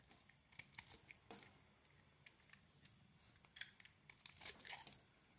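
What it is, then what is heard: Soap bar being shaved. A red and green solid soap bar, held in a hand with glitter nails, is shaved with a metal blade. Quiet, crisp scraping and crackling bursts come in short, bright flurries, with fine tearing and crumbling textures over a faint low hum.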